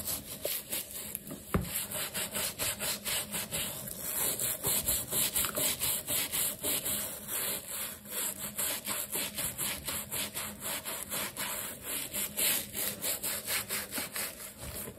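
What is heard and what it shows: A wooden-handled bristle brush scrubs the black rubber sole and edge of a leather sneaker, held in the hand and wet with foam, in a rubbing action. Quick, repeated back-and-forth strokes give a steady, bright scratchy hiss, about two strokes per second, with a faint low hum underneath.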